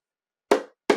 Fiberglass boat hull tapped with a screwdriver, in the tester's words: that sound is a bad sound it's kind of hollow